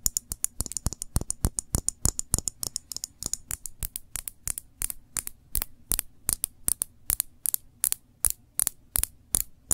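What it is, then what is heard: Glass jam jar tapped with nails. Long nails tap and scratch the curved glass of a small glass jar full of cranberry jam held sideways. About 49 short, bright clicking taps come fast and irregular at first, then spread out into a slower, steadier rhythm, each dying away almost instantly over a faint low hum.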